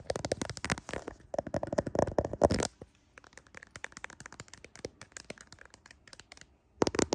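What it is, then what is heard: Smartphone camera lenses tapped and scratched. Fingernails tap and scratch the rear camera lenses of a handheld smartphone with a glass back and metal frame, seen in a mirror. Dense bursts of sharp clicking taps and scratchy rasps open the clip, thin out into quieter, scattered ticks in the middle, then return loudly at the end.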